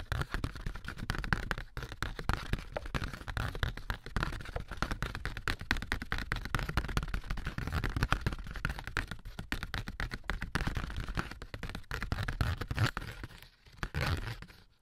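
AA batteries worn like long nails tap and scratch along the ribs of a thin, light, handheld sheet of corrugated cardboard. The result is a dense, rapid stream of dry, dull clicks and scrapes with a heavy low thump and almost no ring. The sound briefly dips near the end before a final short burst.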